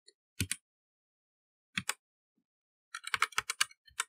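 Fingertips of both hands type on a black, partly lit plastic mechanical computer keyboard with plastic keycaps. Sharp, bright key clicks come in short pairs separated by silent pauses, then a quicker flurry of clacks near the end. Each click stops almost instantly against a silent background.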